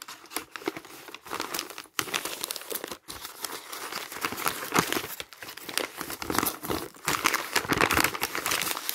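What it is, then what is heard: Crumpled magazine paper. A bundle of thin printed magazine pages is crumpled and rubbed with the palm and fingertips, making a dense, continuous crinkling with bright, crisp crackles and little low end. The rustling runs steadily for nine seconds, broken only by brief pauses near 2 and 3 seconds, and grows slightly louder toward the end.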